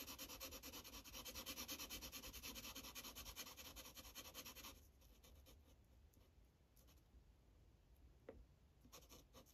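A red Sharpie felt-tip marker scrubs in short strokes over a thin white coloring-book page lying flat. Quick, steady, bright scratchy rubbing repeats about three times a second for the first half. It then drops to a quieter, sparser scratching with a few isolated strokes.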